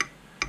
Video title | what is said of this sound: 3D Printed Payloader | when you click it you don't hear that Hollow sound it's it's a you know it's it's a solid chunk of plastic